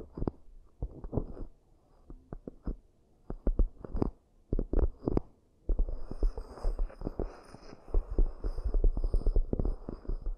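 Long nails tap and scratch the rims and inner surfaces of two identical round, hollow, empty cork coaster bowls. Scattered soft, dull, low thuds come first, then a denser run of rapid muffled taps and scratchy rubbing with a faint high hiss above it.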